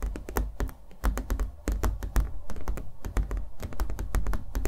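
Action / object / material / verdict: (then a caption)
tap / small stretched canvas with thick acrylic paint / canvas / none. A small stretched canvas coated in thick acrylic paint, hollow behind and held in the hands, is tapped rapidly with fingernails and given light thunks. About thirty short, dry taps come in quick irregular bursts, each with a deep hollow thud and a brief bright click on top.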